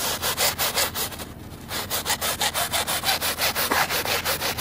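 A white plastic scrub brush with blue bristles is worked back and forth by hand over the wet, soapy, ribbed woven backing of a flooded, very muddy fabric rug. The scrubbing makes a bright, rasping rhythm of about thirteen strokes with a short quieter pause near the middle.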